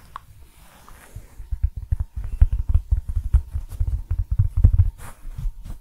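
A round, flat, thin, solid cork coaster printed with "Nouvelle Cuisine" is held in front of a microphone and tapped and scratched with fingertips and short nails. A soft, faint scratching opens, then gives way to a rapid, uneven series of dull, deep, close-up thumps with almost no ring and a few brighter scratchy flicks on top.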